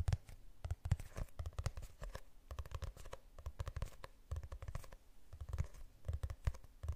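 Fingernails scratch across the glossy cover of a medium hardcover book printed with a city image, held in the hands. The result is a quiet run of quick, dry scratching strokes that come in dense bursts, mostly a soft low rumble with faint brighter scrapes on top.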